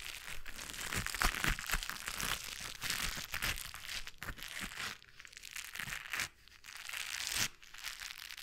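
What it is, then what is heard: Foam-coated fingertip gloves rubbing. Hands in white gloves with blue textured foam fingertips are held together and rubbed against each other above a microphone. The coated fingers give a dense, bright crinkling and crunching texture with scattered sharp snaps, easing to quieter rubbing in the later seconds.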